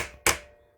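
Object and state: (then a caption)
Fully seated shaft seal. A hammer taps a new rubber and metal countershaft seal into a dirt bike engine (Husaberg, KTM, Husqvarna). A single sharp, bright strike rings briefly over a faint tail from the previous tap. The changed tone signals the seal is fully seated.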